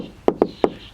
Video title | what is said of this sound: Tiny House tour | if you listen to the knock it sounds hollow because the siding has stood off from the sheathing from the tyvek by 3 8 of an inch